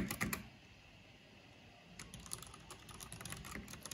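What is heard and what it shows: Fingertips with long nails type rapidly on the black keycaps of a plastic mechanical keyboard. A short cluster of sharp, bright clicks is followed by a brief quiet pause, then a steady run of quick tapping clatter.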